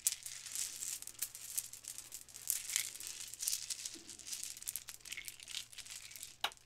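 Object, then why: Plastic bead necklace. A gold metallic-finish plastic Mardi Gras bead necklace with small hollow beads is held in fingers with long nails, then shaken and rubbed. The beads clack together in a dense run of quick, bright, crinkly clicks and rattles that stay mostly high with almost no low end. A sharper clack comes near the end.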